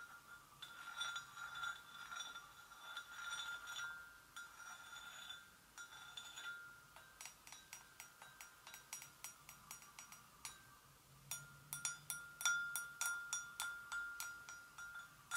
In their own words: ASMR GENTLE TAPPING ON PORCELAIN GRAVY BOAT